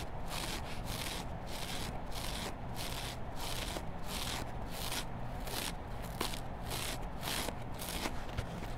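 A hand-sized, solid yellow foam kitchen sponge with a green scouring layer is held and scratched and rubbed along its foam edge with long black nails, close to a microphone lying nearby untouched. The sound is a steady, dense scratchy rustling, with repeated bright, hissy strokes over a low rumbling undertone.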